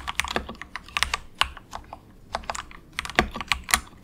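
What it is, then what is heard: Plastic mechanical keyboard being typed on. Fingertips of both hands type softly on a compact 68-key plastic mechanical keyboard with a hollow case, resting on a desk mat, marketed as the cheapest of its kind. About 16 short, bright, clacky keystrokes come in quick bursts with a brief pause in the middle. Each click dies away almost instantly, with little low-end body.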